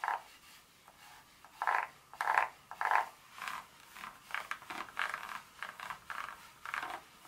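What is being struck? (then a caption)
Dark chocolate bar scratched with fingernails. Two long nail tips scratch across the segments of a solid dark chocolate bar lying flat. It makes a series of short, dry, scratchy strokes centered around 1 kHz, with uneven spacing and no low end. Each stroke stops almost at once with no ring.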